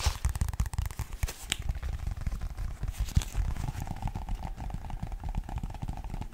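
A medium paperback Pokémon guide book with a glossy card cover has its pages riffled, then the cover is scratched and tapped with fingertips and nails. The result is a dense run of quick, dry crackles and soft taps that sit mostly low, then a steadier rasping scratch in the later part.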